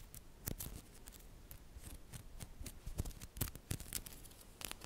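Fingertips and long nails press, rub and click a flat rectangular block of many small solid green-coated neodymium magnetic balls, which may glow in the dark, held in the hands as the block is shaped. Quick, sharp, bright clicks and ticks sound at uneven intervals over a soft, scratchy rubbing bed, each click dying away almost instantly.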